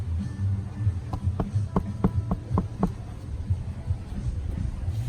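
Knuckles knock seven times in quick succession on the very thick stalk of a giant bird of paradise plant at a resort in Mexico. Each knock is a short, dry, hollow tap over a low background rumble. The stalk sounds like wood.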